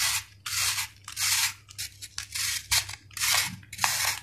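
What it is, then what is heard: Sand-cement ball being shaved. A flat-cut solid sand-cement ball, held in one hand, is scraped repeatedly with a steel knife blade. Each stroke gives a bright, gritty, hissing rasp, with the strokes coming at an uneven pace and separated by short pauses.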